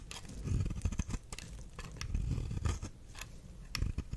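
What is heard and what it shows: A knife blade is scraped repeatedly across the face of a solid red star-shaped soap. Crisp shaving sounds come in uneven strokes over a low, dull body, with brief bright edges on the sharper scrapes.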